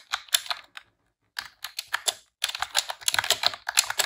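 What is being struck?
Plastic computer keyboard.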